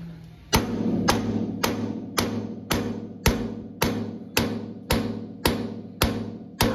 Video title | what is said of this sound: Valve Seats | You can definitely tell when it hits the bottom of that. And they're locked in, they're not coming out.